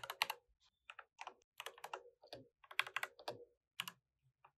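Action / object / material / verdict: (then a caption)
tap / plastic mechanical keyboard / plastic / none. Fingertips tap the plastic keycaps of an RGB mechanical keyboard in continuous typing, with the mouse sitting idle beside it. Bright, crisp clacks come in quick clusters separated by brief pauses. Each keystroke is sharp and dies away almost instantly, with almost no low end.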